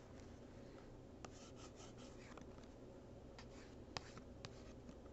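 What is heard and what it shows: A hand holds a small, hollow, printed cardboard gift box still while the capped tip of a plastic marker traces and scratches across its back panel. The result is a quiet, soft scraping and rubbing texture, broken by a few sharp, bright ticks as the tip catches the cardboard.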